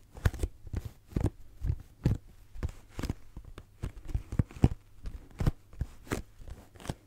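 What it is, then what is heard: Cardboard tissue box. A pink cardboard tissue box, a hollow cube, is scratched and tapped with the fingernails of both hands. About two dozen quick, dull, hollow knocks come through, mostly low in tone and dying away almost at once, with a faint scratchy crackle between them.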